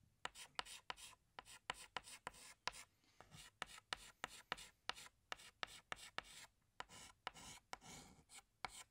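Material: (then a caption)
Chalk. A chalk stick held in the fingertips is drawn across a large, flat black chalkboard with a solid surface, sketching flower outlines. The sound is a steady run of 24 short, bright scratching strokes and taps, separated by softer rubbing in between.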